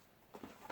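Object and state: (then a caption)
Container of loose chai tea being shaken. A container of loose-leaf wedding chai tea, bought at a tea shop, is shaken. After a quiet start, three soft rattling bursts of leaves shifting inside are heard, the last one the loudest and brightest.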